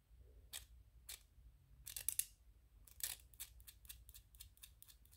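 Fingertips and nails tap and rub on a small white 3D-printed PLA plastic ghost toy. Sharp, bright clicks and scratchy brushes come in irregular bursts, quickening toward the end over a low background hum.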